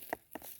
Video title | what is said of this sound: Harvested the Last of This Season's Pumpkins | That's also help to let you know that your pumpkin is fit or it is ripened